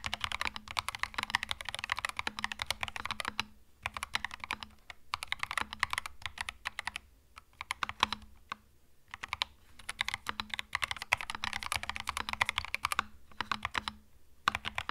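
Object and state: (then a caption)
Mechanical keyboard with plastic keycaps. Fingertips type on a compact cream mechanical keyboard with plastic keycaps, producing rapid, bright, crisp key clicks in bursts separated by brief pauses. A faint steady low hum sits beneath the clatter.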